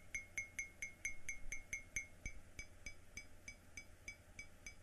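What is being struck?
Glazed ceramic mug.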